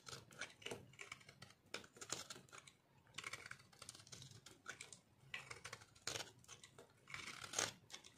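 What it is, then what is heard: Dry bar soap being shaved. A solid, dry pink-orange bar soap chunk held in the hand is shaved with a metal blade. It makes a run of crisp, bright, dry scraping and crunching strokes. The strokes come in quick bursts with short pauses between them, and each one dies away almost at once.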